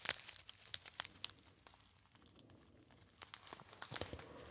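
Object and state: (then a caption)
Foil pouch crinkled. A small, hollow, apparently empty gold metallized foil pouch with a crimped top is crinkled and squeezed by fingertips. Sharp, bright crackles come in quick bursts at the start, ease into a softer rustle in the middle, then return as a busier crinkling flurry near the end, with almost no low end.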